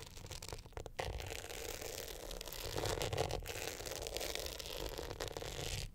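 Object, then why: Glitter hard-shell clutch with metal frame. Long nails scratch the glitter face of an upright hard-shell clutch with a metal frame, held in both hands. The result is a steady, dense rasping scrape with a bright gritty hiss over a low rumble, briefly dipping near the start and end.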